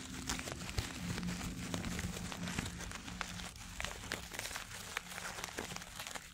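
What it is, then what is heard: Paper tissue crumpled. A white paper tissue held in both hands is crumpled and rubbed by fingers close to the microphone. Dense, bright crinkling and crackling bursts run continuously over a steady low hum.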